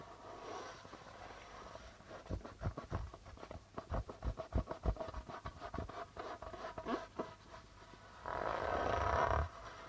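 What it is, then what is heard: Darbuka drum with plastic head. Fingertips tap and brush the white plastic head of a hollow goblet-shaped darbuka drum near its logo. After a soft, hissy brushing opening, about 19 quick, uneven fingertip taps give short, deep thumps with little ring. The clip ends with a louder, sustained rough brushing sweep.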